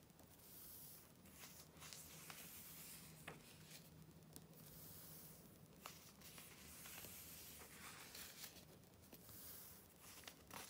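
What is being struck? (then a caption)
Glossy paper magazine. Long nails flip the thin pages of an open July 2013 Vogue glossy paper magazine resting on dark cloth, and fingertips smooth them down. Soft, bright paper rustles and hissing swishes come in waves, broken by sharp little ticks and crinkles, over a faint steady low hum.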